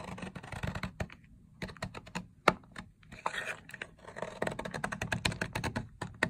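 A box-cutter blade repeatedly scrapes and cuts a long, solid, dry teal-green soap bar resting on a white surface, shaving it into crumbly flakes. Crisp, dry crunching scrapes and short ticking cuts come in dense, uneven bursts, with a brief quieter gap near the middle.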